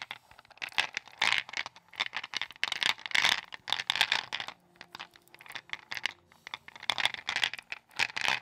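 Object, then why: Gumballs in a wooden bowl. Long patterned acrylic nails dig into and rummage through a wooden bowl full of small, solid, glossy, multicolored round balls, likely gumballs. Bursts of bright, dry rattling and scratching clicks come as the balls knock against each other and the bowl, with brief quieter gaps between handfuls. The clicks die away almost instantly and carry almost no low end.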